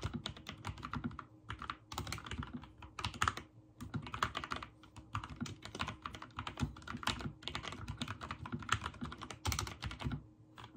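Fingertips type rapidly on a backlit mechanical keyboard with white and teal plastic keycaps. The result is a dense, continuous stream of short, sharp clicks and clacks with a low thock beneath, broken by brief pauses between bursts.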